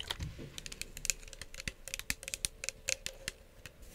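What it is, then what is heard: Plastic spray bottle tapped with nails. Long acrylic nails tap and scratch along the body and trigger head of a hand-sized, hollow pink plastic spray bottle with a My Melody print, possibly partly filled with liquid. About twenty quick, dry, bright clicks come in an uneven, keyboard-like patter, with soft scratchy rustling between them. Each tap dies instantly with no ring.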